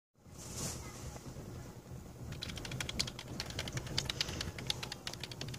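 Keys on a full-size black plastic A4Tech membrane keyboard with a hollow plastic body, lying on a blue patterned mat, are pressed rapidly with the fingertips of both hands. After about two seconds of low background rumble and a brief bright hiss, a fast run of short, crisp, bright plastic taps begins and continues to the end. The clicks decay almost instantly over a steady low murmur.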